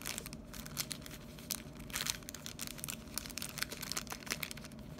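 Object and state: Crinkled cellophane bag.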